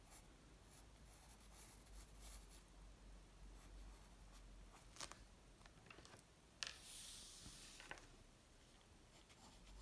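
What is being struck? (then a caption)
Graphite pencil on a paper sheet. A graphite pencil tip scratches lines on a flat white paper sheet resting on a wooden table while drawing. The sound is a quiet, steady, papery scratching, with a few sharper strokes and a brighter, louder rasp about two thirds of the way through before it settles back to soft scratching.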